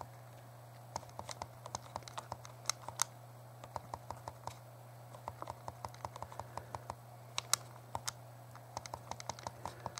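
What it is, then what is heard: Plastic handheld game console buttons. A small, hollow, translucent purple plastic Game Boy Color is held in both hands while the thumbs press and click its plastic buttons. Quick, dry, bright clicks come in irregular bursts over a steady low hum.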